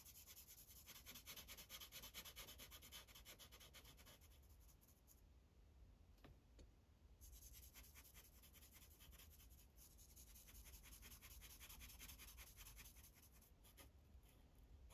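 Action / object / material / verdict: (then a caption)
scrape / paper sheet on a plastic clipboard, rubbed with a felt-tip marker / paper / none. A light-blue Sharpie felt tip rubs across a thin white coloring page on a plastic clipboard in repeated back-and-forth strokes. The strokes make a soft, scratchy, bright hiss at roughly two per second over a low steady rumble. The strokes ease off briefly around the middle, then resume at the same quiet, steady pace.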